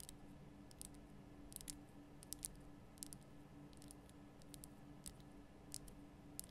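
Long nails tap the sides of a large, lit pink Himalayan rock-salt lamp, a solid rough crystal block. Sparse, quiet, sharp clicks ring bright and die away almost instantly, scattered irregularly over a steady low hum with a faint tone near 300 Hz.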